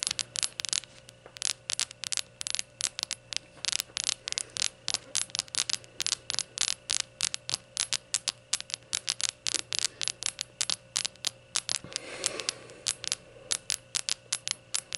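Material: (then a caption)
Glazed ceramic. Long nails rapidly tap and scratch the glazed body of a small, hollow, empty rainbow ceramic shot glass standing on a towel, making about 66 short, bright clicky taps with almost no ring. Around 12 seconds a softer, longer scratching rub breaks in between the taps, all over a faint steady low hum.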